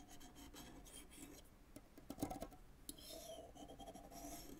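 A white fork is scraped and rubbed across the synthetic string bed of a full-size graphite tennis racket lying flat. It makes a soft, continuous rasping scratch with faint pitched string twangs and a few louder, brighter plucks midway.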